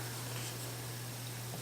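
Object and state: Nothing is struck.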